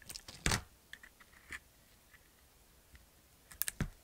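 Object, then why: Bar of soap cut with a knife blade. A utility knife blade carves and scrapes the surface of a handheld solid white bar of soap with a black glitter coating. Sharp, crisp cuts and short gritty scrapes come in scattered bursts, with bright clicks and a dull low thump under the strongest strokes. Quiet gaps separate the strokes.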